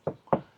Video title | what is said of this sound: Tips Paano Bumili ng MINIVAN - Bagong Build at 2nd Hand | pagka tunog lata, ibig sabihin okay pa, manipis yung masilya